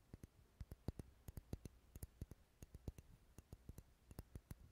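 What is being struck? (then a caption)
Wax pillar candle. Fingernails tap rapidly on the side of a large, dark red, solid wax pillar candle held close to the microphone. About two dozen quiet, dull, low taps land in an uneven rhythm, each with a faint bright click and almost no ring.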